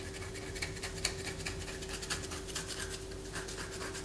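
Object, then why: Bar of white soap. A palm-sized, solid white bar of soap is held in the hand and scratched with long fingernails, with the shavings falling onto a paper poster. Bright, dry scratching strokes repeat at an uneven rhythm over a steady low hum.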